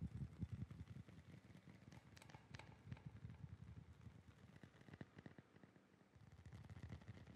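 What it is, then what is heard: Novelty licence plate being tapped. A metal novelty licence plate is tapped in quick, uneven succession, with an echo effect added. The taps land as soft, low, dull knocks with very short ring, plus a few brighter clicks near the middle, and they keep going steadily throughout.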